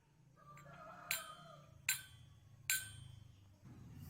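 A drinking glass filled with water, with a metal ruler placed inside, is tapped on its wall three times. Each tap gives a bright, high-pitched ring that fades quickly, and the sound and vibration travel through the glass and the air.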